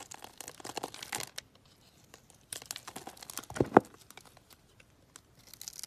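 A solid white bar of soap, scored in a grid and held in the hand, is cut with a box-cutter blade so small cubes crumble off. Soft crisp crunching and crumbling bursts come in clusters, separated by quiet pauses. The two sharpest cracks land near the middle.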